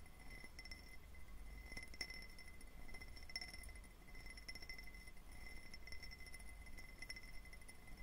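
A hand-sized, clear cut-glass tumbler with a diamond pattern, hollow and empty, is held near the recorder and tapped with fingertips and short nails. The result is quiet, rapid, bright clinks with a steady ringing glassy tone that dies away almost instantly, over a constant low rumble.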